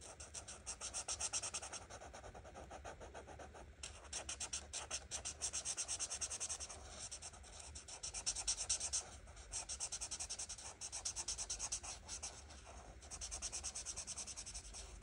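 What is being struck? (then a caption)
Marker tip on a paper page. An art marker tip is rubbed in quick, short strokes across a flat printed paper coloring book page, filling a flower with orange. The result is a steady, bright, scratchy rubbing made of rapid strokes, with brief lulls around 4, 9 and 13 seconds.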